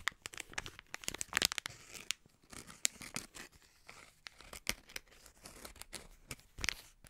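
A green, hand-sized plastic snack packet, sealed and partly filled, is squeezed, rubbed and crinkled between the fingertips of both hands. The result is a dense run of bright, sharp crackles and crinkles, with louder snaps scattered through quieter rustling.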